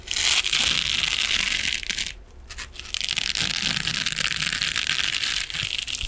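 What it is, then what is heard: Metal mesh scrubbing sponge. A soft, hand-sized silver metallic mesh scrubbing sponge is scratched and squeezed with fingernails and fingertips. It makes a dense, bright, crinkly scratching noise that dips briefly around the two-second mark and then picks up again.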